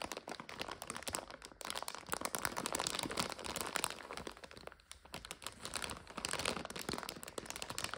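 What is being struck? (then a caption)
Plastic bag of dry noodles. A full plastic bag of dry egg noodles is pressed by hands and tapped with long nails, giving a steady, bright crinkling and crunching. Dense clicks and rustles run through the whole clip with brief dips, and no voice is heard.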